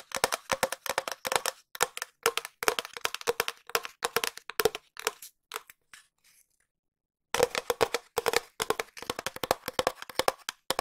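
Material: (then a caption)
Cardboard. A long hollow cardboard tube is tapped quickly with long nails while being moved around the microphone. Rapid bursts of sharp, dry clicks carry a hollow tone near 440 Hz with a bright edge and almost no ring. The tapping thins out and stops for about a second, then resumes at a fast pace.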